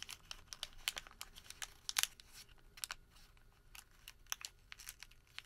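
A thin sheet of printed thermal paper receipt is twisted, then crumpled into a small ball with bare fingertips. It gives a quiet, irregular run of sharp, dry crinkles and crackles, bright and papery with almost no low end. Each snap dies away almost instantly.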